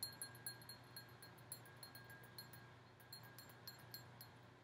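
A large, empty red and gold mercury-glass goblet-style candle holder has its bowl tapped with long painted nails. Fifteen light, quick taps each give a bright, high glassy ping that fades fast, over a quiet low steady hum.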